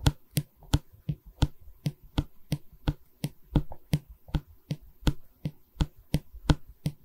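Fingernails tap the top edge of a light pine canvas stretcher frame, then both hands hold the wooden bar while the nails tap and scratch along it. About 20 short, dry knocks with a low, hollow body and almost no ring fall in a brisk, uneven rhythm, with soft scratching filling the gaps.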